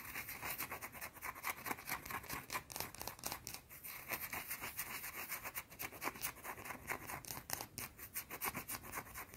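A small, round, solid white soap bar held in both hands is scratched fast with long teal-painted nails. Rapid, dense bursts of dry, bright scratching repeat steadily throughout, with little low end.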